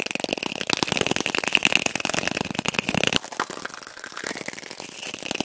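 A small hollow brown cardboard tube, a toilet paper roll, is held in the hands and rapidly tapped and scratched with fingertips and nails. Dense, dry clicks and scraping rustles with a faint high tone come quickly for about three seconds, then shift to softer, quieter scratching.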